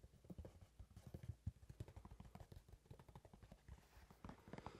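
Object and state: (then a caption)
Leather shoe tapped and scratched. Long red-painted nails tap and scratch on the leather upper of a brown leather dress shoe, hollow and empty, held next to the microphone. Quick, irregular, muffled low taps with almost no ring follow one another closely, mixed with soft scratching. The sound stays quiet and dull throughout.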